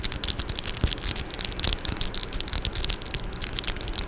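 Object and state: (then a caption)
Metal microphone mesh grille. Long orange acrylic nails tap and scratch on the metal mesh grille of a Blue Yeti microphone, close up. The result is a dense, bright, crackling scratch with quick clicky taps and occasional low thumps, running steadily without pause.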